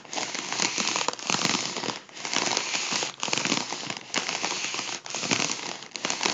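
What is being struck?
Mylar foil balloon.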